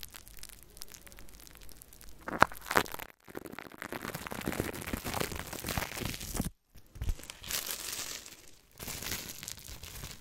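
Fingertips and nails scratch and rub the hollow steel mesh grille of a Blue Yeti USB microphone, with both hands resting on the grille. Dense, crackly scraping and crinkling fills the clip, broken by a few sharp clicks near the start and brief silent gaps.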